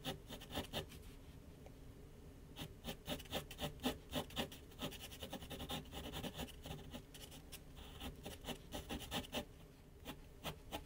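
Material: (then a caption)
Paper. A pencil rubs rapid hatching strokes near the top of a large white paper sheet mounted on a flat board on an easel. Quick, dry scratchy strokes come in bursts with brief quiet spells, including a pause near the start, each stroke leaving a soft rasp over a faint low hum.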